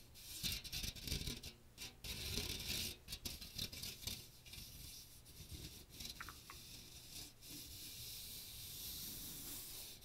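Fingertips scratch the fine metal mesh dome of a small hollow strainer with a teal plastic rim, held over the microphone. A bright, dry rasping comes in irregular bursts for the first few seconds, then settles into a steadier, softer scratchy hiss with a low rumble underneath.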